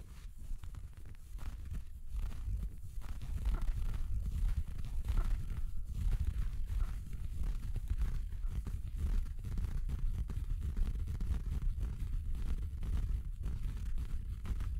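A red felt Christmas stocking with a white faux-fur cuff, soft, hollow and apparently empty, is held up and scratched and rubbed with fingertips. The result is a steady, dense, muffled scratching and rustling texture, almost entirely low-pitched and dull, with no bright content, continuing throughout at a fairly even level.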